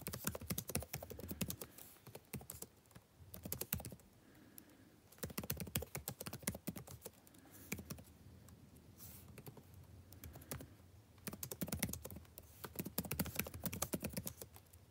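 Fingertips type continuously on a backlit laptop keyboard with plastic keys, producing rapid, dry clicking taps with very short decay. The typing comes in dense bursts separated by quieter stretches, with a soft low thump under the bright clicks.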